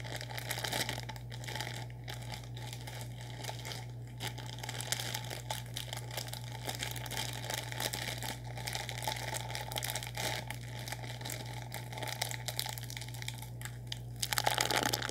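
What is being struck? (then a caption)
Plastic instant noodle packet. A sealed, full orange plastic instant noodle packet is squeezed and crinkled with both hands and fingertips, producing a steady, bright crackling and crinkling over a constant low hum. The crinkling swells louder near the end.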